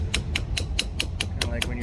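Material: Copper.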